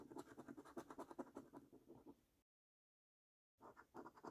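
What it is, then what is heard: Paper scratch card being scratched. A coin scrapes the latex coating off a flat, thin cardboard paper scratch card resting on a wooden table. Quick, uneven scratching strokes with a dry, papery mid-range rasp run for about two and a half seconds, then fade. After a second of silence, the scratching resumes.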